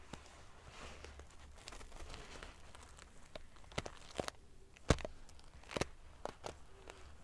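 A large padded pillow covered in rows of silver metal sequin pieces is scratched and flicked with fingertips and long fingernails. Soft, continuous rustling and prickly scratching runs under sharp, bright clicks and ticks, with the loudest snap near the five-second mark and a low hum underneath.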